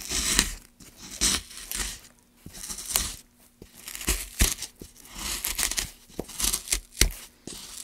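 A gouge scrapes and cuts along a long groove in a solid, light pine wood block. The strokes come in irregular bursts of bright, dry, tearing scrapes, with sharp little snaps between them and a faint steady low hum underneath.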